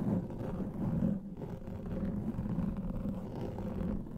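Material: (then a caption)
Foam. Fingernails scratch and rub a large black foam microphone windscreen, producing a continuous, muffled, low rumbling scrape with a dull tone around 200 Hz and almost no high end. The level stays fairly steady throughout, dipping briefly near the middle.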